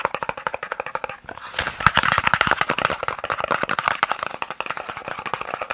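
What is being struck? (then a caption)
Small cardboard box. A small, hollow, white and red cardboard eye drops box, partly hidden in the middle of the view, is tapped rapidly with the fingertips and nails. A fast, continuous stream of short, dry, hollow taps centers around 1.3 kHz with bright clicky edges and almost no low end, each tap dying away almost instantly.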